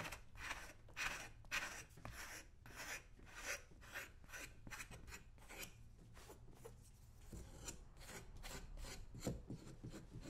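A small flat metal scraper blade held in the hand is scraped repeatedly along the toe and side of a brown leather boot, worn on a person's foot on a shoe-shine stand, its solid leather upper coated with old polish. Short, bright, rasping strokes come in an uneven rhythm of roughly two per second, each a dry scratchy burst over a faint low hum, with brief pauses between passes.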